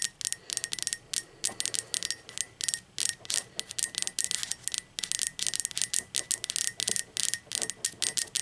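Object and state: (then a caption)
Ceramic mug tapped with fingernails. Long pointed acrylic nails tap rapidly on the outer wall of an upright, hollow, speckled teal ceramic mug. The result is a dense stream of bright, crisp clicks in quick bursts, each dying away almost at once, with a faint ringing tone near 2 kHz and almost no low end.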